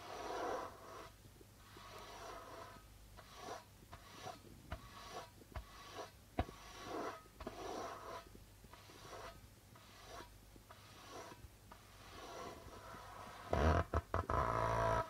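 Fingertips slowly tap and stroke across the plastic head of a hollow darbuka drum. Soft, breathy swishes alternate with light, quick taps over a faint low hum, and the surface sound turns suddenly louder and rougher near the end.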